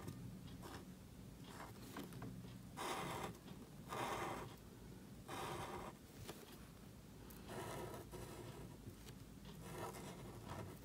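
A calligraphy marker nib scratches strokes across a thin, flat sheet of black cardstock held flat by fingers. Soft, dry scraping bursts rise and fade over a steady low hum, each stroke a brief mid-pitched rasp with a faint brighter hiss.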